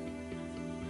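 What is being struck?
Nothing is struck.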